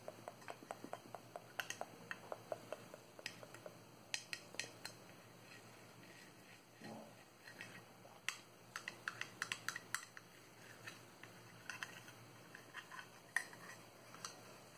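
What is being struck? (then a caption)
Small hard plastic cube box. A small, hollow, empty box of clear hard plastic shaped like a cube is held in the hands while long nails tap and scratch its sides. Quiet, bright, sharp clicks with almost no ring come in irregular bursts over a soft, steady scratching hiss.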